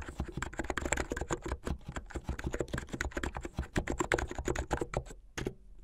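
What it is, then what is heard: Plastic mechanical keyboard. Fingertips and nails type continuously and fast on a backlit plastic mechanical keyboard with white and blue plastic keycaps. The result is a dense stream of short, dry clacks with a low thocky body and bright clicky tops. Near the end there is a brief pause, then a final couple of keystrokes.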